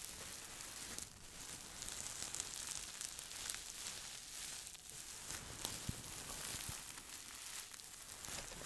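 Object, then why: Cloth sachet filled with soft stuffing. Fingertips and nails scratch and squeeze a small, soft, filled green patterned cloth scent pillow held in both hands close to the mic. A steady, bright, crackly rustle fills the clip, almost like a sizzle, with occasional sharper scratchy clicks and a slight dip around the first second.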